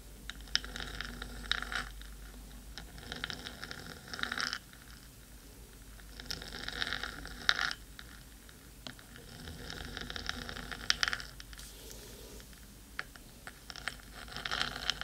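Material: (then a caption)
Metal. Long pointed nails scratch the black metal top of a 3Dio microphone's hollow housing, making close, bright scratchy rasps with sharp ticks. The scratching comes in waves of denser bursts with quieter gaps between them, over a low steady hum.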